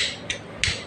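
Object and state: Loose crankshaft with worn bearings.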